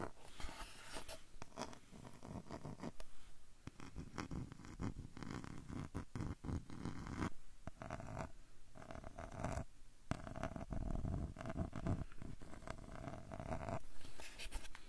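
Fingertips scratch and tap the light wooden edge of a small square frame with a dark centre, held upright beside the recorder. The result is a close, dense stream of soft scratching and quick taps, mostly a low rumbling texture with short, dull bursts that die away almost at once.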